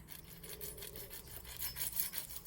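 The crispy edge of a freshly cooked buttermilk pancake is scraped and rubbed, giving a dry, rasping crunch with bright high-frequency texture and repeated strokes. The edges are crispy.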